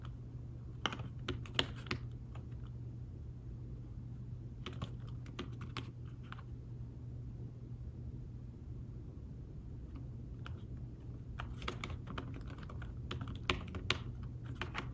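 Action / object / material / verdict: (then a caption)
tap / thin fabric-covered folio keyboard / fabric / none. Fingertips type and tap on a thin folio tablet keyboard with fabric-covered keys, producing soft, short, muted clicks that come in bursts near the start, middle and end. A steady low hum sits underneath throughout, and the quiet taps die away almost instantly.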